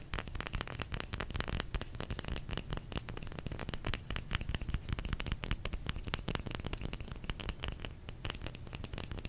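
A solid bar of soap is tapped with the fingers in a quick, continuous flurry. Each tap is short and dry with a soft low thud underneath crisp, crackly clicks, and the taps die away almost instantly.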